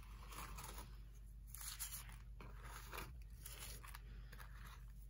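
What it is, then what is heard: Pressed cleanser powder block. Bare fingertips rub, scrape and crumble the surface of a hand-sized slab of pressed pale green Comet cleanser powder resting on a plastic tray with loose powder around it. Quiet, gritty scraping and soft crunching come in brief bright bursts over a steady low hum, and the powder gives way in small crumbles throughout.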